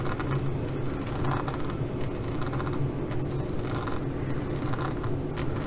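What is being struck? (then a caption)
Studded faux leather pouch. Long fingernails on both hands scratch across a green faux leather pouch covered in pyramid studs. The result is a steady, dense rasping texture with a low rumble underneath and recurring bursts of brighter, crackly scratching.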